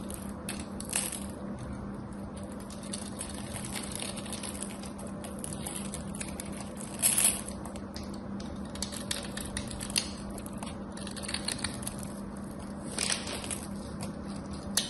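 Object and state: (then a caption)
Soap bar. A craft knife scrapes and shaves the side of a solid cream soap bar with a gold coating. The result is a steady run of dry, crisp scratching with bright crackle, broken by a few louder shaving bursts, over a faint constant low hum.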